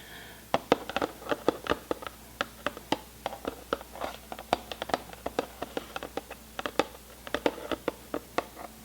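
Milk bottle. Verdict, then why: Empty. Fingers tap an empty milk bottle as an ASMR trigger, producing about 38 short, dry, hollow taps with no lingering ring. The taps have a mid-range tone around 480 Hz and come at an uneven pace, some soft and some sharper, over a quiet background.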